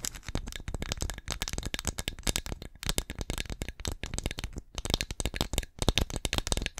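Long nails rapidly tap and scratch the glazed front of a small, hollow, painted ceramic pumpkin ornament held in both hands. Dense bursts of short, dry, clicky taps mix with scratchy rasps, each with a low hollow knock and bright ticks that stop almost at once.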